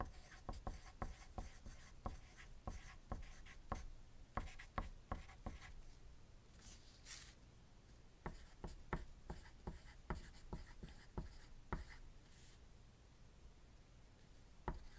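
A hand writes with a wooden graphite pencil on a thin white paper sheet lying on a pad, while dice nearby stay still. The quiet graphite tip scratches and taps across the paper in short, dry strokes with a soft low thump beneath each one. The writing pauses briefly in the middle, leaving a faint bright rustle, before the strokes resume.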